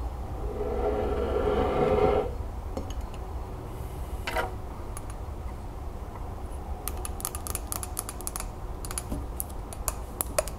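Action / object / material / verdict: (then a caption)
tap / glazed ceramic mug / glazed ceramic / none. Long nails tap the glazed sides of a hollow green celadon ceramic mug with a relief band and a lid/infuser on top, held in the hands. It opens with about two seconds of a steady, mid-toned scraping hum. Then come sparse light clicks, building into a fast run of sharp, bright, dry ticks with almost no ring.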